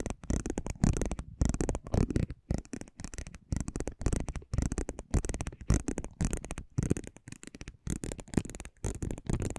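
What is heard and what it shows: A metal spiked pinwheel is rolled across the surface of a small, thin cardboard basketball trading card held in the fingers. It makes dense, irregular bursts of soft crackling and scratching, mostly low and muffled with a faint bright edge, separated by brief pauses.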